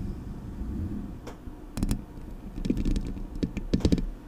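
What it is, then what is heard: Metal microphone grille. Long nails scratch the hollow metal mesh grille of a Blue Yeti microphone, producing irregular, sharp ticking clicks over a steady low, boomy rumble. The scratches come in short clusters that grow denser and louder toward the end, each one dying away almost instantly.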